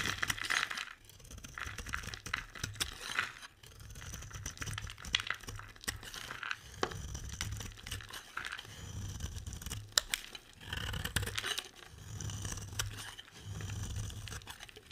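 A utility knife blade scrapes thick curls off the edge of a solid, hand-sized, dry orange bar soap. The result is a steady run of crisp, bright scraping and crinkling with many sharp clicks and short pauses between strokes, over a low background rumble.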